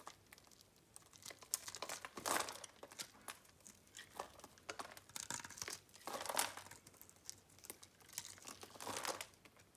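A metal box-cutter blade scrapes and cuts scored cubes off a solid white bar of soap held in the palm. Quiet, crisp crumbling and crunching come in rapid bursts, with brighter rasping swells as the blade drags through the soap. The sounds are dry and short, with almost no low end or ring.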